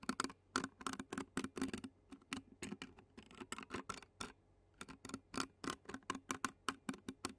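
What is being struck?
Metal mesh microphone grille.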